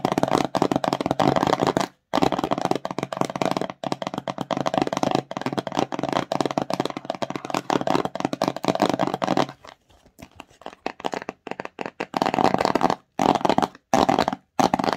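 Long nails quickly scratch and tap the front of a small, empty, hollow glossy cardboard slime box. The result is a dense, dry, rapid scratching and tapping with almost no ring, broken by brief pauses. It drops to softer, sparser taps for a couple of seconds near the end before fast bursts return.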